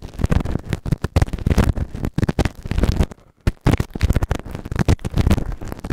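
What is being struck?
Silicone ear-shaped microphone scraped with a plastic ear tool.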